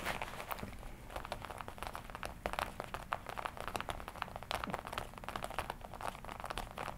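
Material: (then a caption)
Leather. Fingertips tap and rub the black leather on the chest and shoulder of a worn red-and-black smooth leather jacket. Dense, quick, soft taps mix with crinkly, scratchy rubbing, each tap dying out almost instantly over a low steady background hum.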